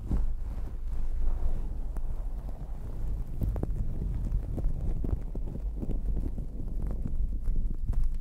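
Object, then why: Fuzzy fabric microphone cover. Long acrylic nails scratch across a fluffy, glittery fabric towel covering a microphone, using one or both hands. The result is a steady, muffled, low rumbling rustle made of many quick, soft scrapes, with almost no bright or high content.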